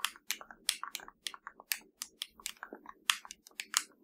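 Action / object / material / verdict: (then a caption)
tap / plastic TV remote control / plastic / none. Long nails tap and scratch the top surface of a hollow black plastic LG TV remote control. The result is a quick, irregular run of sharp, dry clicks with bright, crisp highs, each dying away almost at once, with softer scratching between the taps.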